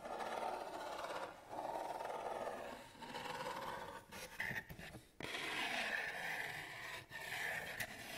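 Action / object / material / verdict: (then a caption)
scrape / cardboard box / cardboard / none. Long nails and fingertips rub and scratch the lid and side of a medium, flat, kraft-brown cardboard box with a thumb notch, hollow and closed. The result is steady, dry scratching in long strokes broken by brief pauses, with a hollow papery rasp. Later strokes sound brighter, with a thin whistling edge.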